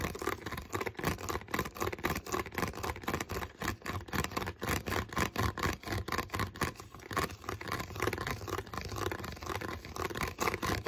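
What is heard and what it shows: Fingertips tap and scratch the molded bottom of an empty, hollow, clear plastic water bottle. The result is a quick, unevenly spaced run of dry, hollow clicks and scrapes with a midrange body and very little ring.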